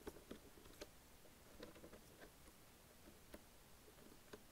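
Long nails tap the plastic keys and panel of a black and lime Logitech plastic wireless keyboard, with a ring worn on the tapping hand. A few sharp, clicky taps stand out over a quiet, steady patter of lighter taps, each one dying away almost instantly.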